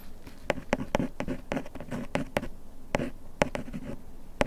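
A bamboo ear pick scratches along the printed lettering on the front of a small printed paperboard bandage box held in hand. A dry, papery rasp runs throughout, broken by 12 sharp, short ticks with a hollow mid-range tone around 580 Hz. Each tick stops almost instantly.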